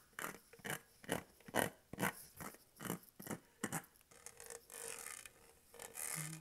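Fingernails scratch and rub the studs of a matte dark-green Starbucks tumbler made of hollow plastic with a studded surface, held upright with its lid and straw on, and the straw is briefly touched. A quick run of short, bright, scratchy bursts gives way to steadier rubbing with a faint hollow hum underneath, ending in a brief low tone.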